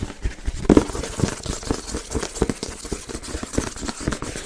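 A hand-sized printed cardboard Yeti box with white-and-blue icon panels is held close to the mic and tapped with fingertips and nails. A quick, uneven run of dull, hollow taps and light scratchy clicks follows, each dying away almost at once.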